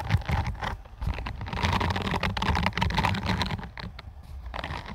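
Long acrylic nails scratch across the dense bristles of a hand-sized, peach-orange silicone scalp massager brush. Quick, irregular clicky patter and soft scratching run continuously, with a low rumbling undertone beneath.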